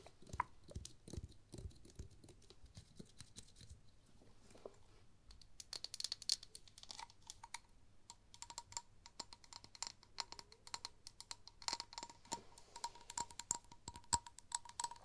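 A small, thick-walled glass cosmetic jar with a purple plastic lid, empty or nearly empty, is held in one hand close to the microphones and tapped and scratched with long painted acrylic nails. The result is a dense run of quick, dry clicks and scrapes with very short ring, bright and crisp on top, with a faint tone around 950 Hz coming through in the later taps.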